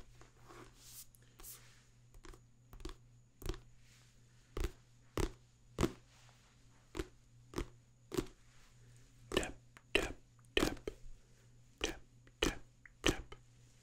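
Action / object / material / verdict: tap / paperback book with card cover / paper / none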